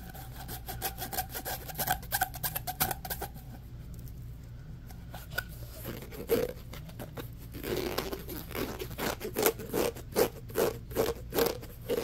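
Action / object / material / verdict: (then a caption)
scrape / ribbed plastic pop tube / plastic / none. Short fingernails rapidly scratch and rub across the corrugations of a hollow, orange, ribbed plastic pop tube. The result is bursts of dry, bright rasping strokes, with a quieter stretch in the middle. Later strokes bring out a hollow, ringing tone around 460 Hz from the tube.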